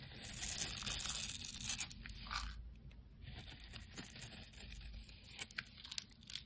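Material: Soap.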